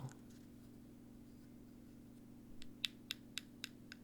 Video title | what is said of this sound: ASMR Tapping and Ear Brushing | the rest of it is some kind of thin bendy metal